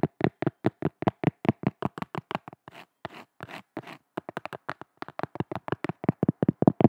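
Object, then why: Cork surface. Hands tap rapidly on a cork object, making about 37 short, dry, muffled taps with a low-mid thud and almost no ring. The taps run in quick bursts, broken around the middle by a few softer, brushier scratching sounds.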